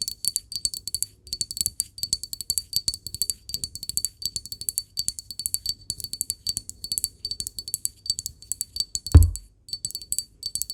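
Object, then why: Glass object. A glass object is tapped in quick, steady succession, giving bright clinking taps with a high ring over soft low knocks. The taps die away almost at once, and one heavier thud stands out near the nine-second mark.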